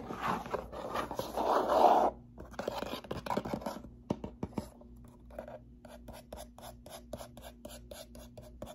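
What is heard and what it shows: Long nails scratch and tap the faces of a small, closed, hollow brown corrugated cardboard box held upright in the hands. A loud, dense scratching burst opens the clip for about two seconds, peaking in the midrange. It gives way to a run of light, crisp, irregular taps and short scratches against a faint steady hum.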